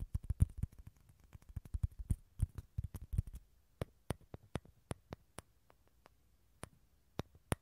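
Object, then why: Dried gourd shell. Fingernails tap and scratch the outer surface of a small, hollow, dried gourd with a tan shell, held in both hands over a TASCAM recorder. Quiet, dry, low-pitched hollow clicks come in a quick, busy cluster for the first three seconds, then spread into sparser, separate taps. Each tap dies away almost instantly.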